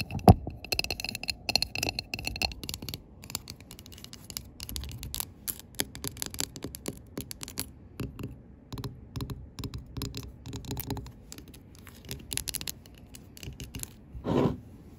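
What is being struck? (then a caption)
Glass jar candle tapped with fingernails. Long pink acrylic nails tap the rim and side of a large glass jar candle filled with tan wax. The result is a steady stream of quick, dry clicks and light scratchy taps with almost no ring, some carrying a bright glassy tick. Near the end there is a louder, fuller swell.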